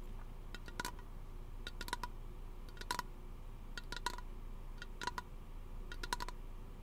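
Fingernails tap and scratch a small, hollow, teal aluminum aerosol lotion can held close to the microphone. Short, sharp metallic clicks come in quick clusters, each with a brief ring near 1 kHz and bright upper overtones. A steady low rumble runs underneath throughout.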